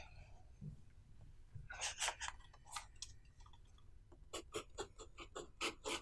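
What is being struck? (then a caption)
Pen on paper notebook page. A blue pen writes small Chinese characters near the bottom of the right page of an open paper notebook lying on a wooden table. The pen tip scratches and strokes the paper in short, bright bursts, first in a loose cluster and then in a quicker run of distinct strokes over a faint low hum.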